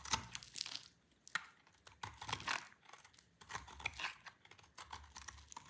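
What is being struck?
Bar of soap cut with a blade.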